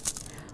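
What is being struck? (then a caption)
Glass beads in plastic petri plates. Stacked plastic petri plates holding glass spreading beads are shaken, giving a short, bright, high-pitched rattle in a few quick bursts as the beads roll across the agar. The rolling beads spread the bacteria evenly over the agar surface.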